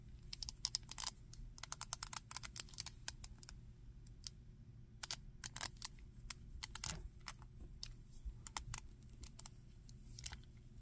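Fingertips and nails tap and scratch the torso, back and legs of a grey-green monster action figure made of hard plastic with a textured back and feet. The result is a quiet stream of short, bright, dry clicks and scrapes that stop almost instantly, some in quick clusters, over a steady low hum.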